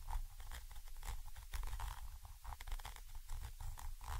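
A thin orange stick scratches from above a Zoom H5 XY microphone capsule, a small chrome metal body with mesh grilles. The result is a low, rumbling scrape with repeated scratchy bursts and faint brighter crackle on top.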